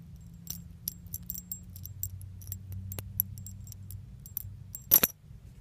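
A small metal keychain with pink leaf charms is held in the fingers and shaken, giving bright, scattered jingles and clinks over a low steady hum. The clinks come in quick irregular bursts, and a louder rattle near the end is followed by quiet.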